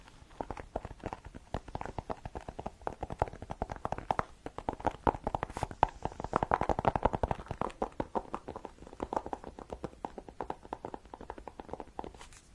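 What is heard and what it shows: Fingertips rapidly tap and scratch on the cover of a Kindle e-reader, producing a dense, continuous run of short, dry clicks and taps. The sound is mostly low-midrange, with little bright content and almost no ring after each tap.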